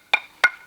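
A hammer taps twice on a quarried stone meant for an inkstone, and each strike gives a short, bright, clear ring centered around 1.5 kHz. The clear sound marks the stone as sound, good material for an inkstone.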